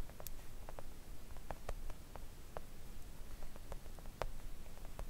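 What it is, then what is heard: Silicone nail art mat. Long acrylic nails of both hands gently tap a thin, solid, flat pink silicone nail art mat lying on a table. The sound is a quiet, irregular patter of soft, short clicks centered around 540 Hz, each fading almost at once over a low rumbling background.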